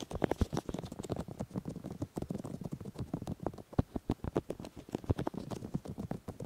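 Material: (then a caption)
Silicone. Fingertips rub and tap the silicone ears of a 3Dio binaural microphone, mostly on one side. The result is a rapid, steady run of soft, muffled thumps and brushing sounds, heavy in the low end with almost no bright content. Each tap dies away almost instantly.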